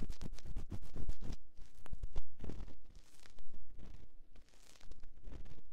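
A metal ear-pick scratches inside the canal of a silicone ear on a binaural microphone. Close, irregular scratching and crackling come in rapid bursts, with a dull low rumble beneath and brief brighter rasps. The sound pauses and softens in places before the scraping picks up again.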